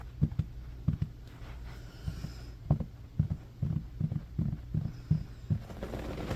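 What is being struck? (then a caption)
Low-pile synthetic carpet. Fingertips and short nails of both hands quickly scratch a low-pile beige synthetic carpet on a room floor, clawing back and forth across its surface. This produces a rapid, uneven series of short, dull, muffled scuffs and thumps, almost entirely low in pitch with no bright edge, each dying away almost at once.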